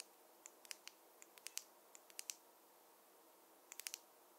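A wooden or bamboo fine-tooth comb is tapped, giving 15 short, dry, bright clicks that stop almost instantly, with no low-end body. The taps come in irregular small clusters over a quiet background hiss, with a pause before a final quick burst.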